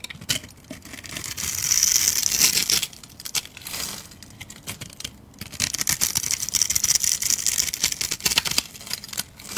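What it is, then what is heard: Soap bar being carved. A metal utility blade scrapes and carves small cubes off a hand-held, pre-scored bar of translucent yellow soap. The result is a dense, bright crackling and crinkling scrape in two long bursts separated by a quieter pause, with quick crisp ticks as the pieces break away.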